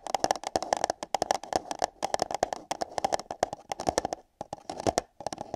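Long yellow nails rapidly tap and scratch the walls of two identical empty light-blue paper cups, one fitted over each ear of a binaural microphone. The result is a dense run of crisp, bright clicks with a hollow, small-cup resonance around 760 Hz and scratchy rustling between taps. A brief pause comes just past the four-second mark before the tapping resumes.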